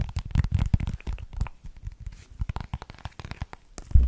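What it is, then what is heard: Plastic case tapped and scratched with fingernails. A small, hollow, rectangular iridescent holographic plastic case is held in the hands and tapped and scratched with long painted nails. The result is a quick, dense run of dull, low-pitched taps mixed with soft, crinkly scratching, and a louder thump near the end.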